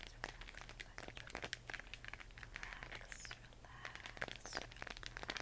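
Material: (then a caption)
Plastic. Long nails tap and scratch across a hollow plastic LED moon-lamp sphere glowing cyan, making quick, dry clicks and crinkly scraping. The short, bright taps come in a dense, uneven stream over a faint steady low hum, and the sound stays quiet throughout.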